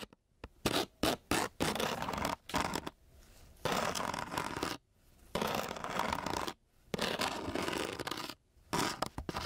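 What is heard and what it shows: A metal key held by its green head is scratched across a flat sheet of coarse-grit sandpaper. Short bursts give way to longer gritty strokes, with a harsh, broadband rasp separated by brief silences.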